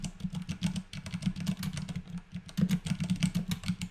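Both hands type steadily with their fingertips on a compact white mechanical keyboard with plastic keycaps resting on a desk, working through a typing test. The result is a quick, continuous run of short, dry keystrokes, each with a deep, rounded thock and a faint bright click on top. The rhythm stays even throughout, with a slightly louder burst near the end.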